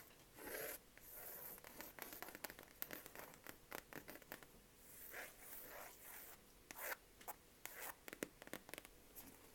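Dry fingernail scratching over a cloth book cover, broken by quick dull taps, in a small quiet room.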